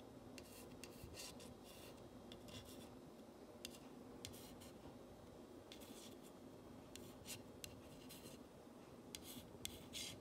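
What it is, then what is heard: Painted wooden sign. A long acrylic nail traces and scratches along the letters of a long, flat, solid wooden plank sign painted cream and reading "Love Me, Love My Dog." Soft, bright scratching and rasping strokes come in short bursts over a quiet, steady low background. Each stroke ends quickly with almost no ring.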